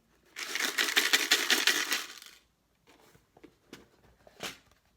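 A closed box holding metal paper clips is shaken, making a dense, bright metallic rattle for about two seconds. A few scattered, lighter clicks and rattles follow as the box settles.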